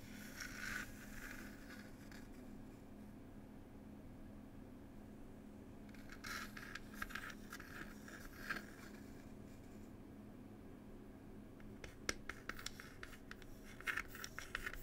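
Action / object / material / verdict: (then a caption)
scrape / small wooden box / wood / none. A small hollow wooden tea box is scratched and tapped with long pointed nails. Bursts of dry, scratchy rasping come at the start and again in the middle, followed by a run of quick, sharp taps toward the end. A low steady hum sits underneath throughout.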